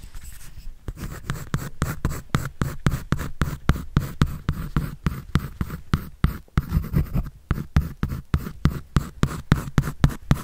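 A pencil scratches and draws across a white paper sketch pad held by hand. Quick, irregular strokes of dry, papery scraping come about 33 times in a steady stream, each short and with no ring, heavy in low body with little high brightness.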